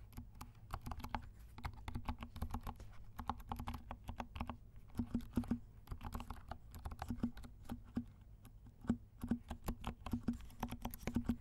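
Fingertips of both hands type steadily on a compact black mechanical keyboard with silent switches and black and pink plastic keycaps. The result is a quick run of soft, muted clicks and low thocks, each short and dry with a faint low tone, coming in uneven bursts with brief pauses.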